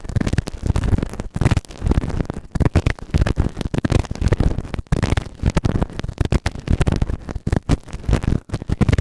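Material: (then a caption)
Silicone. A white plastic ear tool held in fingertips scrapes inside the ear canal of a soft, solid grey silicone ear-shaped microphone on a round base. The result is a dense run of close, muffled scratching and crackling bursts, heavy in low rumble with almost no bright content, broken by brief near-silent gaps.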